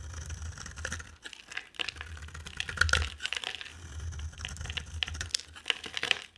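A utility knife blade shaves and scrapes a solid, dry, hand-sized orange bar of soap with an embossed logo, held in one hand, sending white flakes off. The result is a dense run of crisp, bright scraping and crackling ticks, like rapid dry clicks, over a faint low rumble.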